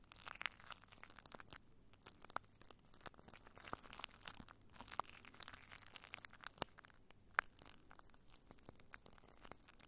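Clear plastic cling wrap covering a microphone is scratched and squeezed by fingertips and long nails, giving a dense stream of quiet crinkling, crackling and tearing-like sounds. Many sharp, brief clicks stand out, with a few louder snaps, over a soft, bright rustle.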